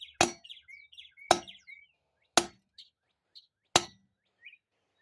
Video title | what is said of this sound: Part 2.Overhaul low and reverse piston and install parking paw 4L60E | solid metallic sound. means it's in